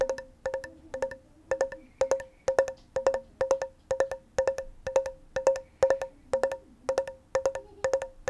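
Long nails tap on the lid and sides of a small, round, closed, hollow metal tin with a pink and green label, held close to the mic. The taps come in quick rhythmic clusters of bright, hollow clicks with a steady tone around 540 Hz that dies away almost at once.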